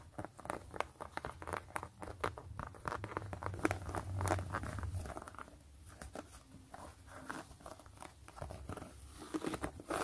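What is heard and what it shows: Long nails scratch a hollow, empty gray knit mesh slip-on sneaker held in the hand, first across the fabric upper and then along the white rubber sole tread. The result is a dense run of quick, dry, crinkly scratching strokes at an irregular pace, with a soft low rumble beneath the first half that fades later on.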